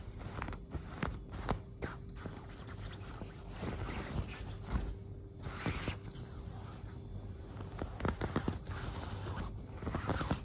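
Long black-painted nails and fingertips scratch and rub the surface of a large, soft, puffy, filled white quilted fabric duvet on a bed. Quiet, continuous scratchy rustling carries a low, muffled weight, broken by brief sharper scraping strokes throughout.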